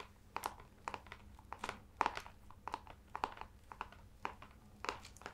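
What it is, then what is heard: Leather-bound hardcover book, tapped and scratched. Fingertips and nails tap and scratch the ornate embossed leather-look cover of a large hardcover book with a lion crest, held upright in both hands. The result is a quiet, irregular series of short, dry taps with a faint midrange knock near 940 Hz, mixed with brief, bright crinkly scratches that die away almost instantly.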